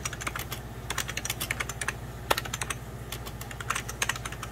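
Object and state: Plastic computer keyboard.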